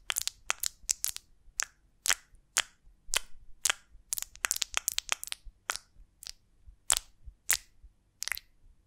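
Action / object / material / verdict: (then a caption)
tap / beeswax honeycomb on a branch / beeswax / none. Long nails scratch and tap the wax cell surface of a large golden beeswax honeycomb on a twig, held in both hands. The result is a quiet, irregular series of sharp, bright crackling clicks and scrapes, each dying away almost instantly, with very little low end.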